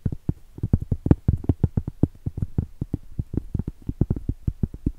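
Very long stiletto acrylic nails tap and scratch the top of a round, flat, solid cork trivet (hot pad) about 20 cm across, held horizontally. About 29 quick, dull, low taps land in an uneven rhythm, each a soft thud that dies almost instantly with no ring or bright edge.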